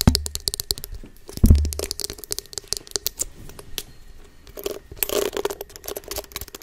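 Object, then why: Silicone facial cleansing brush. Long nails and fingertips scratch and rub the soft bristles of a small, solid pink silicone face scrubber held close to the microphone. The result is a stream of quick, crisp scratchy ticks and bristly rubbing, with two deeper, heavier thumps near the start.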